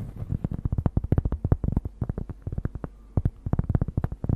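A large, thin, solid round cork disc, held in both hands close to the microphone, is scratched and tapped with long nails. It makes a quick, uneven run of soft, dull, low thuds with almost no ring and a faint scratchy hiss between them. There is a brief pause near the three-second mark before the tapping picks up again.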